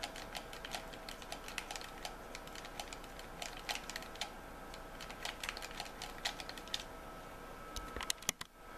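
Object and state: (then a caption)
Plastic game controller. Thumbs and fingertips rapidly click the buttons of a white plastic game controller, making a steady stream of short, dry, bright clicks over a faint steady hum. Near the end the controller is held in one hand, a few louder clicks stand out, and the sound grows quieter.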